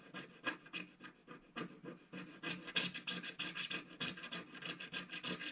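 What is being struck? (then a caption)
Black-coated scratch-art card scraped with a wooden stick. A wooden stick scratches the black coating of a flat, solid scratch-art card page near its lower edge. The result is a steady run of short, dry, bright scraping strokes in an uneven rhythm of about three per second, with quieter stretches between louder bursts.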